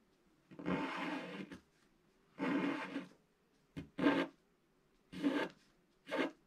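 A wooden stylus scratches the coating off a flat, black-coated scratch-art paper page in a series of separate rasping strokes. Each stroke is a dry, papery scrape centred around 280 Hz with a bright hiss on top. The strokes stop cleanly into silence.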